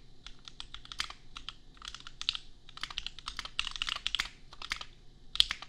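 Bare fingertips of both hands type on a $250 custom 60% mechanical keyboard with Gateron Milky Yellow switches and red and white plastic keycaps, resting on an anime desk mat. Quick bursts of short, bright plastic clacks centered around 3.4 kHz come in uneven rhythmic clusters with brief pauses between them. Each keystroke dies away almost instantly.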